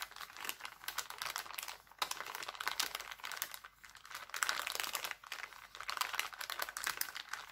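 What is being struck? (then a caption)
Thin plastic cellophane bag. An empty, thin, clear plastic cellophane bag printed with hearts is crumpled and crinkled with the fingertips of both hands. A dense stream of crisp, bright crackles and rustles comes in uneven bursts with brief dips. There is almost no low end.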